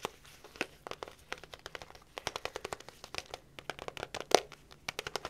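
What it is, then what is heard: Paper food cup. A small, sealed, hollow paperboard instant bowl cup with a printed label is held in the hands and tapped on its side and bottom with long fingernails. About thirty quick, dry, clicking taps come in an uneven stream, each ringing out almost instantly, with one sharper, louder tap near the end.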